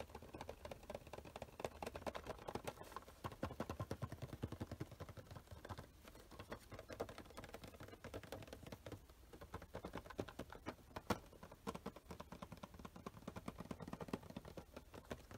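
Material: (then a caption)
Cardboard. A small printed cardboard Funko Pop box with a plastic window and a vinyl figure inside, held in the hands and turned, is tapped quickly with the fingertips and nails. Dense, rapid, quiet taps with short dry clicks run continuously, with a brief lull around the middle.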